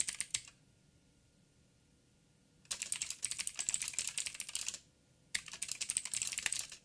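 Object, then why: Mechanical keyboard with plastic keycaps. Fingertips of both hands type on a backlit 87-key mechanical keyboard with plastic keycaps and clicky blue switches. Three bursts of rapid, bright, sharp clicks are separated by quiet pauses, with almost no low-end thump. Each click stops almost instantly.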